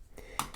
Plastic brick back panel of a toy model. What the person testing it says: this isn't a standard back panel piece it sounds like it's hollow well that's because it is